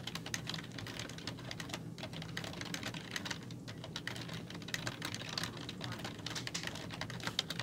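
Fingertips with long nails type rapidly on a black plastic computer keyboard with hollow keys, producing a dense, continuous stream of short, bright clicks and taps with almost no ring. A steady low hum sits underneath the typing throughout.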